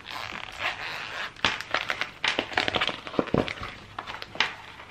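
Fingertips squeeze, crinkle and rub a small, hollow, empty, flexible clear PVC plastic pencil case with a daisy print and a yellow zipper. The result is an irregular stream of crisp, bright crackles and sharp snaps over a soft rustling hiss, with little low end and no ring.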